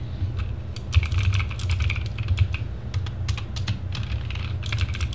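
Fingertips of both hands type repeatedly on a compact RGB-backlit TGT Sherman Mini mechanical gaming keyboard with plastic keycaps on a plastic case, resting on a wooden desk. A fast, uneven stream of short, sharp key clicks and clacks with bright tops runs over a steady low hum.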